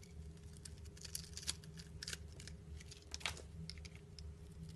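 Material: Soap.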